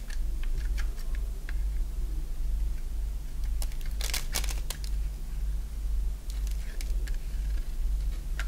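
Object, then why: Bar of soap cut with a blade. A solid oval bar of dry white soap held in the palm is shaved and carved with a box-cutter blade, peeling off curls. Short, bright scraping and cutting strokes come in irregular bursts over a steady low hum, with a denser cluster of strokes in the middle.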